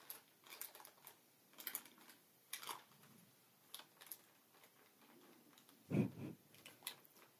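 A fingertip and nail tap and scratch a clear, hollow, air-filled plastic air-cushion packaging pillow lying flat on a table. The result is a quiet series of light clicks and soft scratchy rustles with a dull low body. Near the six-second mark comes one louder, deeper thump.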